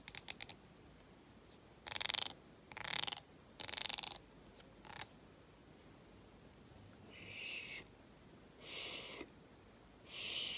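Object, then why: Carbon plastic comb. A thin, solid black carbon plastic comb, just unpacked, has its teeth flicked and scratched with fingernails. A few quick, sharp ticks open the clip, followed by several short bursts of bright, buzzy rasping. Later come softer, airy scratching swells with little low end.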